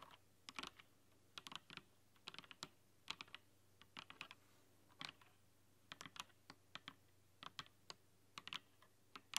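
Long nails type rapidly on a rainbow-lit mechanical keyboard with plastic keycaps, giving quick bursts of bright, sharp clicks centered around 2.8 kHz. The clicks come in uneven clusters with no ring after each one, over a quiet, steady low hum.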